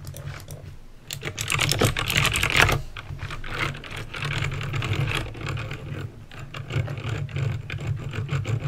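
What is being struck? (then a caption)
Plastic mechanical keyboard with clicky switches. Fingertips with painted nails type on a backlit plastic mechanical keyboard with clicky green switches. Irregular bursts of sharp, bright clicks and clacks run continuously over a low steady hum, with short, dry taps and no lingering ring.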